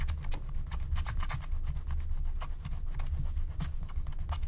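A wooden stylus scratches and rubs the coating off a thin, black-coated scratch-art card lying flat. The result is a steady run of quick, dry scratching strokes with bright, papery rasps over a low, dull rumble.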